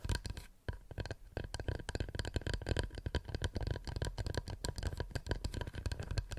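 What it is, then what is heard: Wooden plate. A wooden plate is tapped quickly and continuously with fingernails, producing a dense run of short, dry clicks over a low, thumping body with almost no ring. After a brief lull near the start, the tapping picks up again and stays fairly steady to the end.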